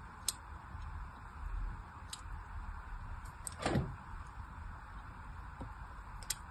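A dark thin blade scrapes and carves along a solid orange soap bar with a crosshatched surface, held in hand. Short, bright scratchy ticks rise over a low, steady rumble, with one longer, louder scrape near the middle that sweeps down in pitch.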